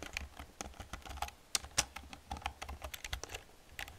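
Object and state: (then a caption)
Plastic computer keyboard being typed on. Fast typing with long painted nails and fingertips on an old black plastic computer keyboard with hollow plastic keys produces a rapid, uneven stream of bright, clacky clicks. Each keystroke is short and dry, with a few louder taps standing out over a soft low thud.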